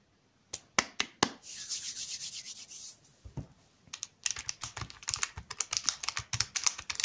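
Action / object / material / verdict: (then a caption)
tap / chocolate bar in plastic wrapper / plastic film / none. Fingertips with short nails tap a long Nuts chocolate bar, solid and full in a shiny plastic wrapper lying on a table beside other untouched sweets, giving four sharp, bright clicks. A steady, hissy rub along the wrapper follows. The bar is then picked up, and the wrapper crinkles between both hands in a rapid run of crisp, high crackles.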